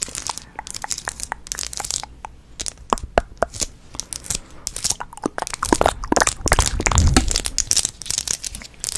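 A small, clear plastic multi-compartment bead box, apparently empty, is held in the hands and tapped and scratched with long nails. Crisp, bright clicks and dry scratchy crinkling come in an uneven, rapid stream, with a louder, rougher scraping stretch near the middle-to-end.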